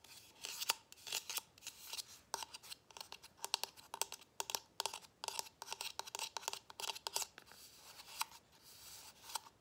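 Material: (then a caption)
Plastic. Fingernails rapidly tap and scratch a small, matte gold, hollow plastic boot-shaped Christmas ornament with an embossed holly pattern. The result is a fast stream of crisp, dry clicks and scratchy rasps that are bright and high, with no low end and almost no ring after each tap.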